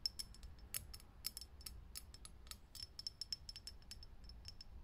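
Long nails tap quickly on a lit, hollow, clear glass vintage filament light bulb, making a rapid, uneven series of short, bright clicks. Each tap has a high glassy ping that dies away almost at once, over a quiet, steady low hum.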